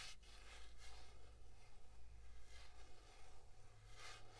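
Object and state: Plastic paddle hairbrush.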